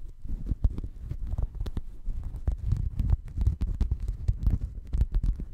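A flat, checkered woven fabric mat held in both hands in front of the microphone is scratched and rubbed with fingertips and nails. The result is a dense, muffled low rumbling and rustling, broken by many quick, sharp scratchy clicks that flash up bright.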